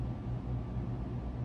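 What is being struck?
Nothing is struck.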